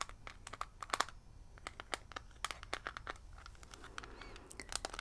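Long red nails tap and scratch the lid and rim of a small, hollow, handheld metal mint tin printed and shaped like a Hylian shield. Quick, dry clicks with a bright metallic tick come in an irregular patter over a soft scratching hiss, each tap dying away almost instantly.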